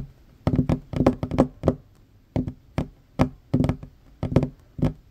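Fingertips and short fingernails of both hands tap quickly on a worn, large, solid wooden tabletop. Sixteen dry, knocking taps come in uneven bursts, each with a low, woody thunk around 250 Hz and a very short decay with no ring.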